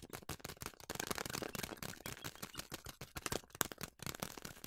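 Hands with long nails squeeze and crinkle a large yellow plastic bag of quick oats that is partly full. The result is a quiet, continuous stream of dense, bright crackles and sharp little clicks, with a soft rustle underneath.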